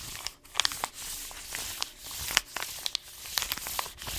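A hand rubs and scratches the paper surface of an orange paper-foil coffee bean bag with blue tape, lying on its side. The result is a bright, dry crinkling hiss broken by several sharp crackles and brief scratchy bursts, with almost no low end.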